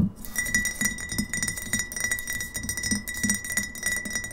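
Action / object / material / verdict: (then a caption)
tap / glass bottle with paper label / glass / none. Long nails tap quickly on a hollow, mostly empty GT's Synergy glass kombucha bottle with a paper label, standing on a table, striking both the glass and the label. The result is a dense run of sharp clicks and clinks with a bright, sustained glassy ring around 2 kHz over dull low knocks near 200 Hz.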